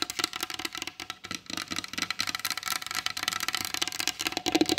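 Long blue acrylic nails on both hands tap rapidly and lightly scratch across a solid varnished wooden tabletop with a glossy finish. The result is a dense stream of quick, bright clicks with very short decay, a faint woody knock underneath, and soft scratchy rustling between the taps.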